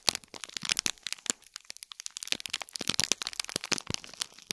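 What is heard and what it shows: A small gold foil-wrapped cube gift box in plastic film has its wrapping scratched and crinkled by nails. The result is a dense run of sharp, dry crackles and crinkles, mostly bright and high with almost no low end. Each snap dies away at once.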